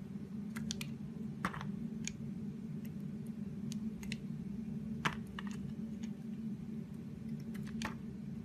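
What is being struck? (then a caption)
Soap bar scraped with a knife blade. A utility knife blade scrapes and slices a solid teal oval soap bar held in the hand. Brief, dry clicking scrapes with bright edges come at irregular intervals over a steady low hum, and each one dies away almost instantly.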